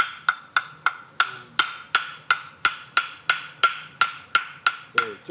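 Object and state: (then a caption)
Well-dried firewood. A well-dried piece of firewood is knocked 16 times at a steady pace. Each knock gives a clear, light, hollow tock with a bright tone around 1.4 kHz that dies away quickly. That clean, light sound shows the log is well dried.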